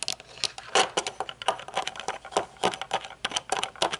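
Long nails tap quickly on the top of the metal frame of dark-lensed aviator sunglasses standing on a table, then run along the thin metal temple arm. The result is a dense run of light, bright clicks and ticks with short, thin metallic ringing and almost no low end.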